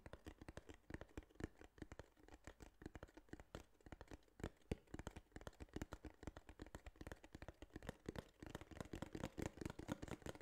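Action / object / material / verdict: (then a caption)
tap / small cardboard box / cardboard / none. Fingertips rapidly tap and scratch the flat face of a small, hollow, tan kraft cardboard box held in one hand. The sound is a quiet, continuous run of dry, dull taps with a low, hollow thump. Each tap dies away almost instantly, with light scratching between them.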